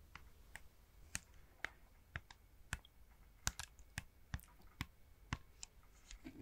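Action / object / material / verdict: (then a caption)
tap / plastic game controller in a plastic grip / plastic / none. A fingertip clicks the buttons and taps the plastic of a red and blue Joy-Con set in a small, hollow, red plastic wheel-style grip accessory. About fifteen short, dry clicks and taps ring out separately with almost no ring, each with a bright snap over a faint low thump against a quiet, close background.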